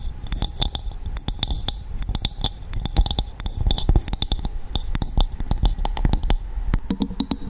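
A hollow, empty, dried, hand-sized coconut shell half is held over the mic and tapped and scratched on its outer surface with long acrylic nails. Rapid, irregular, sharp clicks with bright tops and a woody low thump die away almost instantly, while a soft, scratchy rasp fills the gaps and rises briefly near the end.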